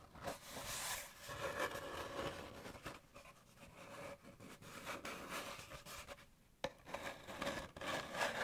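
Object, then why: Cardboard paper towel tube. An empty, hollow brown cardboard paper towel tube is held in one hand and rubbed and scratched with the fingers. The result is soft, continuous, papery scraping and rustling with a faint hollow tone. Near the end, a brief quiet gap is followed by one sharper scratch.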